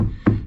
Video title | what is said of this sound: Re-padding the front seat in my 1959 Chevrolet plus installing seatbelts Part 3 | that's not going anywhere now that's as solid as a rock